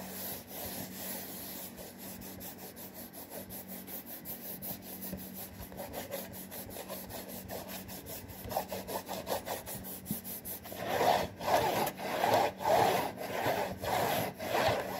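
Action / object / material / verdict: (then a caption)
scrape / printed cardboard cracker box / cardboard / none. Fingertips and nails scratch and rub the front panel of a hollow, printed cardboard saltine cracker box, making a quick, steady run of dry scratching strokes. The strokes stay soft and papery at first, then grow louder and fuller, with a hollow rubbing tone, in the last few seconds.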